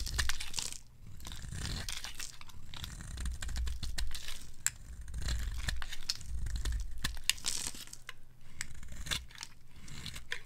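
A palm-sized pink Discover-brand bar of dry solid soap, held in the hand, is shaved with a metal blade into pink curls. Dry, crinkly scraping and tearing strokes come in a steady, uneven stream over a low, soft rumble, with occasional sharp bright clicks.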